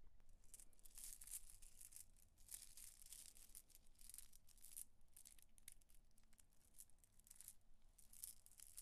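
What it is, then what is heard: Glass bead necklace. A multi-strand necklace of faceted green glass beads is held in the palm over a marble counter and rolled and rubbed between fingertips with long acrylic nails. The beads click together in a quiet, continuous stream of bright, crisp rattling and ticking, with a low steady hum underneath.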